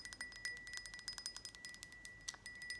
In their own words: This is the lid to a glass kind of jar.